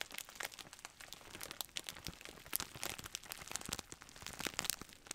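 A large, clear plastic bag of bubble wrap, hollow and soft, is held upright in both hands while fingers squeeze and rub it. The plastic makes a continuous, bright crinkling with many dense, crisp crackles and very little low end.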